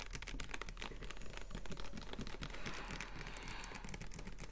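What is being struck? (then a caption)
Capped plastic water bottle. A clear plastic water bottle of about 1.5 L with a blue label, capped and held in both hands, is tapped and scratched with the fingernails on its ridged sides. Rapid, dense clicking taps run together with soft, hollow low thumps, and a brighter crinkly scratching grows in the second half. The level stays quiet and fairly steady throughout.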